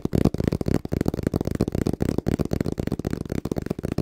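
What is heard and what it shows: A small, hollow brown cardboard box is held upright in both hands and tapped rhythmically with the fingertips. The result is a fast, continuous patter of dull, low, hollow thuds that die away almost instantly, with almost no bright content.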